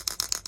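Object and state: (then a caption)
Fuel pump inertia switch rattling when shaken. A fuel pump inertia cut-off switch being re-mounted in a Ford Capri 2.9 Cosworth twin turbo is shaken, giving four quick, bright, metallic rattles concentrated in the high frequencies. It stays silent when held upright with its button pressed and rattles only when shaken, which is normal for the switch.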